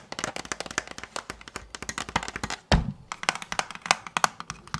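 A large hollow orange and blue plastic Nerf toy blaster is held in both hands near the microphone and tapped and scratched with fingertips and nails. The result is a quick, uneven stream of short, dry hollow taps and bright clicks, with a heavier thump just before the three-second mark.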